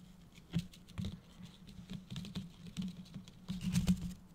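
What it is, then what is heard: Tinsel-covered decorative gift box. Fingertips and nails tap and scratch the gold holographic foil bow and red and gold plastic tinsel on a medium, hollow-looking Christmas gift-box decoration. Quick, quiet patters and light scratchy crinkles come in irregular bursts, with the strongest taps near the start and end, over a steady low hum. Each tap dies away almost instantly.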